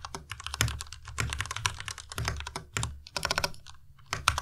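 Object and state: Plastic mechanical keyboard being typed on.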